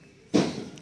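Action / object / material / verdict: knock / two coconuts knocked together / coconut shell / sound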